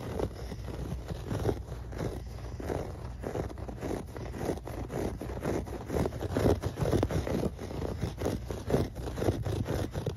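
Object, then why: Thick shag carpet pile. Fingertips and nails scratch and rub across a thick grey shag carpet with dense, fluffy pile. The result is a soft, dull, scratchy rasping in repeated strokes, roughly two per second at an uneven rhythm. The sound is mostly low and muffled, with little bright content.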